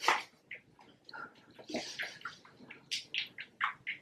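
A screw-cap plastic bottle of exact-colour liquid silicone mix, supplied very liquid so it can be mixed, is shaken as part of a shake lasting about two minutes. Quick, rhythmic sloshing bursts of liquid inside the bottle repeat throughout, with bright splashy tones and little low end.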